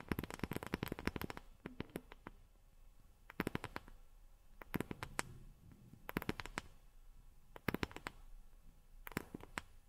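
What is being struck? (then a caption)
Small wooden block tapped with fingernails. A small, solid-looking rectangular reddish wooden block is held in both hands and tapped with long nails. Quick, dry clicking taps come in rapid bursts separated by short pauses, each tap stopping almost at once.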